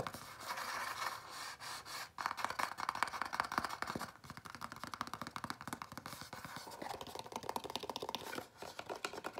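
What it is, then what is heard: Empty cardboard box. A small, empty, hollow white printed Domino's cardboard dessert box is held in the hand and scratched and tapped with fingernails. It makes a dense run of quick, dry, papery scratches and clicks centered in the midrange, with brief pauses near the 2-second and 8.5-second marks.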